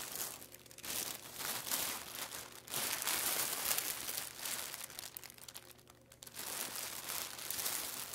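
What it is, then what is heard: Crinkling clear plastic packaging bag. Flat hands and fingertips press and rub a flat, layered clear plastic packaging bag with a barcode label lying on a wooden table. The film gives off a steady, bright crinkling and crackling with little low end, swelling and easing in waves with brief quieter dips between bursts.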